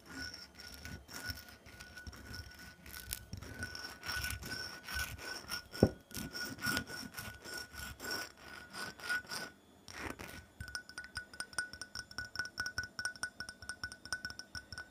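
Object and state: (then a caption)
Glass perfume bottle. Long natural nails scratch and tap the top and shoulder of a small, heavy, hollow black glass perfume bottle held in the hand; it has a textured glittery coating and a round window showing partly filled orange liquid. Dry, gritty scratching rasps on for about ten seconds, broken by one sharp click near the six-second mark, with a faint steady tone and a high whine underneath. After a brief pause, a fast stream of light, bright ticking taps fills the rest of the clip.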